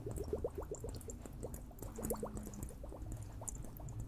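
A liquid-filled water hourglass is tapped, giving a quick run of short, bubbly, rising blips in the midrange over a low, steady rumble. Faint bright ticks sit above, and each note dies away almost at once, sounding like gurgling liquid.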